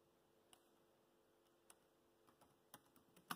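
Fingertips tap the black plastic keys of a laptop keyboard while typing, making soft, sparse clicks over a quiet background with a faint steady hum. The taps come slowly at first, then closer together, ending on the loudest, brightest click.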